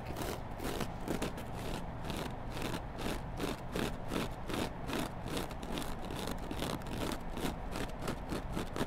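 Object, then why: Foam kitchen sponge with abrasive scouring pad. A hand-sized, solid kitchen sponge of yellow foam is held with its green abrasive scouring-pad side up and scratched with long black glittery nails. The result is a steady run of rough, raspy scratching strokes at an uneven pace, roughly two to three per second. The strokes sit over a constant low rumble.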